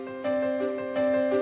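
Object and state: Nothing is struck.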